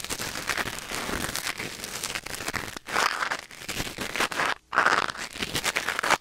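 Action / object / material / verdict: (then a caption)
scrape / wooden ear pick in a silicone ear / silicone / none. A thin wooden or bamboo ear pick, held in the fingers, scratches and scrapes inside the ear canal of a white silicone ear mounted on a black binaural microphone. The result is a close, dense crackling and crinkling with bright, papery texture and little low end, broken by brief pauses near 2.8 and 4.6 seconds.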